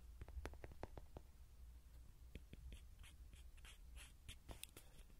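Fingernails tap and scratch the surface of a small yellow soft-vinyl Rody horse toy, likely hollow, held in the hands. Quick, dry, close-up taps cluster in the first second, then give way to lighter, brighter scratching strokes. A low, steady hum runs underneath, and the whole clip stays quiet.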